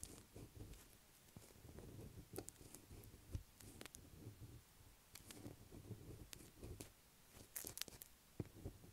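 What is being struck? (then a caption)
Solid bar of soap. Long black acrylic nails on both hands scratch the top of a light blue solid bar of soap lying on a table. The result is a quiet, dry, crackly scratching, with bursts of rough rasping broken by sharp, bright clicks and brief pauses.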